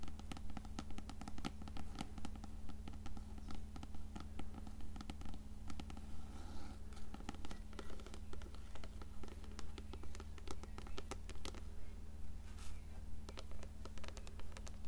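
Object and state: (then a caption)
Paperback book. Long nails tap and scratch the glossy paper cover and spine of a small closed blue paperback copy of *Coraline*, standing upright on a stack of books. Quick, regular bright clicks and scratchy strokes repeat at a steady rhythm of about two per second. A constant low hum sits underneath the whole clip.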